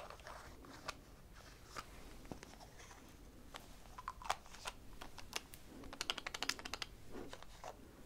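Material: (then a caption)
Plastic. A small, hollow white plastic cosmetic bottle with a cap is held in one hand and tapped with long acrylic nails. The result is a run of quick, bright, clicky taps with almost no ring, scattered at first and then clustering faster and denser toward the end, over a faint low background hum.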